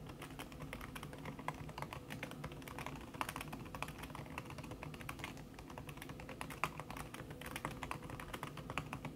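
Fast typing with fingertips and long red-painted nails on a thin backlit aluminium keyboard with plastic keys under a red silicone skin. Dense, rapid soft taps and clicks blur into a continuous patter, with a steady low rumble underneath and occasional sharper, brighter key strikes standing out.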